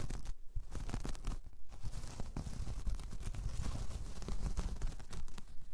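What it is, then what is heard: Woven jute coaster. Long painted nails scratch across a large, flat, solid round coaster of braided jute and straw. The result is a continuous, dry, crunchy scraping texture of quick rough strokes that stop dead with no ring, weighted toward the low end.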